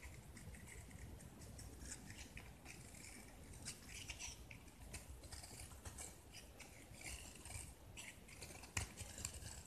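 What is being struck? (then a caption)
Painted gypsum plaster brick. A utility knife blade carves and scrapes a palm-sized, hand-held solid gypsum plaster brick painted blue with yellow specks, and the chunks crumble onto a pile below. Quiet, steady crunchy scraping and gritty crackling run throughout, with bright scratchy bursts over a soft low rumble and one sharper snap near the end.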